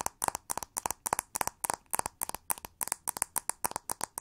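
Long nails rapidly tap and scratch the hollow back of a pink textured plastic hair brush with pin bristles. The result is a fast, irregular stream of short, dry clicks with a hollow midrange knock and bright, crisp edges. Each click dies away almost instantly.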